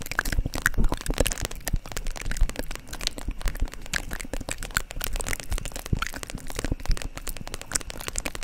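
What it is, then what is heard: Vinyl makeup bag tapped and scratched with nails. Long nails tap and scratch a holographic vinyl makeup pouch held upright. A dense, continuous stream of quick, dry crackling taps and crinkly scratches runs throughout, with no ring after each tick.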